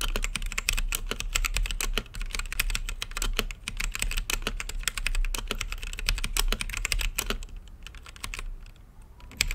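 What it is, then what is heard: Mechanical keyboard typing. Fingertips type steadily on an RGB-lit mechanical keyboard with plastic keycaps and a clear acrylic case, producing a rapid stream of short, sharp clicky key presses with a bright edge. The typing continues almost unbroken, then thins out to a few sparse presses near the end.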